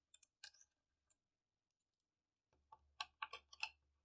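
Fingertips pick up, place and click silver- and bronze-coloured metal coins together while counting them out in rows on a purple cloth. Bright, short metallic clicks come in scattered bursts, sparse at first and then clustered more densely toward the end over a faint low hum.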